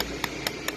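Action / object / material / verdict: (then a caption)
knock / wooden plank with a wooden brace / wood / loose. A wooden plank standing in for a guitar top, with a wooden brace held against it but not glued, is knocked three times. Each knock is a short, bright tap that fades quickly. Because the brace is loose, the parts strike each other and add an extra rattle, which is the sign of a brace that has come unbonded.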